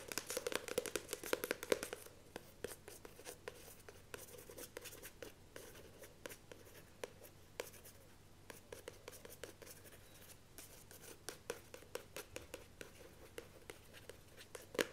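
Long nails scratch quickly over the printed cardstock cover of a paperback novel held up in the hand, making dry, bright scratching strokes. The first two seconds are dense and busy, then the strokes thin into sharper, scattered scrapes and taps over a faint low hum, with a louder burst at the very end.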